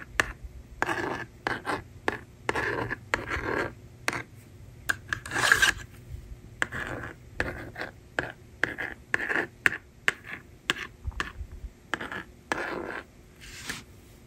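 A yellow plastic stylus scratches numbers onto the screen of a small hand-held plastic magnetic drawing board. Short, dry scratching and rasping strokes come in quick bursts separated by brief pauses, with most of their energy in the upper midrange. There is almost no ring after each stroke.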